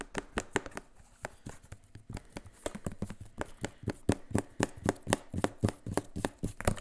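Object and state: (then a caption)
Plastic spray bottle. A hollow, mostly empty clear plastic spray bottle with a white trigger head is held close and tapped and scratched with fingertips and nails along its body and label. Around thirty quick, dry taps come at about four per second in an uneven rhythm. Each has a short hollow low thump and a bright scratchy edge that dies away almost at once.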